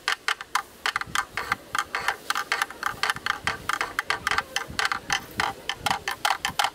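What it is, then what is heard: Plastic camera lens hood. A thin bamboo stick taps steadily on the rim of a black, rectangular, hollow plastic camera lens hood, about 37 quick, bright ticks in a clock-like rhythm. Each tap is a short, hollow plastic click centered near 820 Hz that dies away almost immediately, with little low end.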